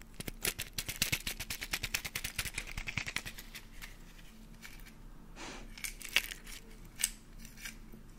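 Fingernails tap, scratch and crack an empty half of a brown hen's eggshell, with its white membrane visible inside, held close to the mic. A rapid run of sharp, bright, dry clicks gives way to a softer scratchy rustle, broken by a couple of crisp cracks near the end.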